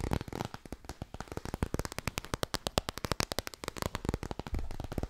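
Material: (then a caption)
Cardboard. A small, solid laminated cardboard children's board book held in both hands is tapped and scratched quickly with long nails. Rapid, dry, crisp clicks and scratches run together in dense bursts with no ringing, and low thumps mix with bright tapping.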